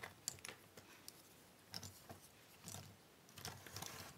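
Fingertips and long nails pick up, flip and shuffle small, thin cardboard jigsaw puzzle pieces from a large pile on a wooden table. Quiet, dry, bright clicks and crisp papery rustles come in short, scattered bursts, with brief soft scraping between them.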